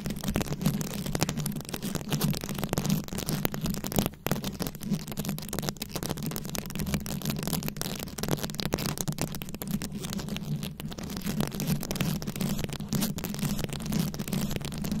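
Very long acrylic nail tips scratch a round, fist-sized microphone head covered in plastic rhinestones and beads. The result is a dense, continuous rattle of fast clicks and scrapes over a steady low hum. The sound briefly drops out around the four-second mark.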